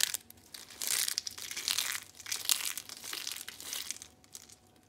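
Dry pink soap sheets are crushed in a fist and fingers, with flakes piling up on a striped cloth. Dense, bright crackling and crunching comes in irregular bursts, with short dry snaps and almost no low end.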